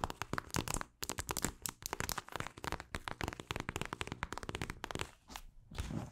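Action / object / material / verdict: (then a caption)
scrape / plastic eye mask filled with gel beads / plastic / none. Long acrylic nails scratch and tap across a mint-green plastic eye mask filled with gel beads. The result is a rapid series of dry, crackly clicks and crinkling scrapes with broadband, bright edges and very short decay, with brief pauses between bursts.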